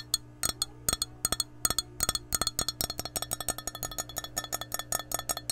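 An empty glass measuring cup with a handle, held sideways, is tapped with long nails in quick, uneven bursts. Each tap gives a short, bright clink that dies away almost at once, over a faint steady low hum.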